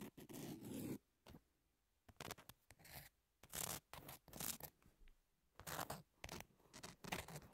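Long nails tap and scratch the abrasive surface of a long, thin, flat, solid emery nail file with pink edges lying on a table. Short gritty rasps and light taps come in quick, irregular bursts, bright and scratchy, with brief quiet gaps between strokes.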